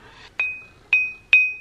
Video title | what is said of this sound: Can we make this knife sharpener better? Tool Time Tuesday | if there's a crack in the stone you don't get that ring